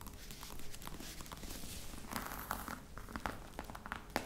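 Long red nails rapidly tap the top of a flat, hollow black box covered in embossed faux-crocodile leather. The result is a quiet, steady patter of soft, dull taps with short ring, broken by a few sharper clicks near the end.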